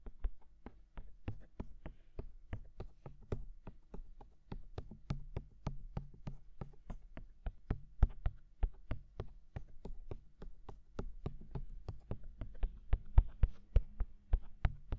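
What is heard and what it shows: Fingertips tap on the white silicone ears of a binaural microphone in a rapid, loosely even rhythm of about four taps per second. Each tap is a soft, dull, low thud with a brief bright click at the onset, dying away almost at once. The taps continue through the whole clip, with some landing harder than others.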